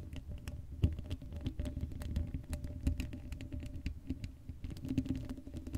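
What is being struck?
Woven metal mesh microphone grille.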